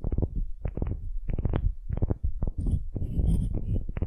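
A solid, light wooden cube is held in both hands while long nails scratch rapidly across its end grain face. The result is a quick run of low, dry, rumbling scratch bursts with short gaps between them. Faint bright ticks come in toward the end.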